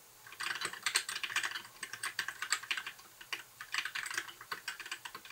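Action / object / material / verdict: tap / plastic mechanical keyboard / plastic / none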